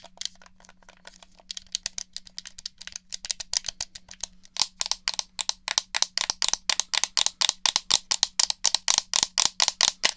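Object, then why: Plastic game controller. Fingers tap, click the buttons of and rattle a black, hollow plastic PS4-style gamepad held near a dummy head. It makes a rapid run of dry, bright clicks and taps, soft and sparse at first, then louder and more regular from about halfway through. A faint, steady low hum runs underneath.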